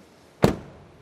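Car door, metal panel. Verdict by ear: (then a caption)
Solid. A car door on an Opel Astra is shut once, giving a single low, dull thud that dies away quickly with no rattle. The closing sounds very solid.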